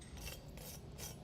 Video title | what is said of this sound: Im-PRESS-ive Cubans | you can hear how crispy it is. Just beautiful. That's what you're looking for.